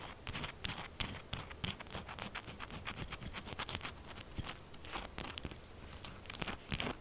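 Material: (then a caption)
Soap. Long acrylic nails scratch fast across the top and edges of a solid, pink textured soap bar lying flat. A rapid, uneven run of crisp, bright scratches and clicks is heard, each cut off almost at once with no ring, over a faint low background.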